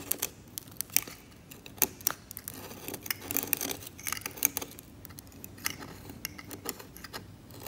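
A hand-held steel scalpel scrapes cracked, yellowed varnish on an oil painting on canvas, with loose varnish flakes lying on the surface. Quick, bright scratching strokes and sharp ticks come in an uneven series over a faint hiss, each dying away almost at once.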